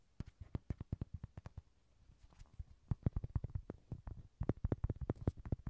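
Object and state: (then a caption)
Inflatable vinyl toy. Light, rapid taps on a Rody inflatable vinyl toy horse give soft, low thumps with almost no ring. The taps come in quick runs, pause briefly near the two-second mark, then pick up again faster and a little louder through the end.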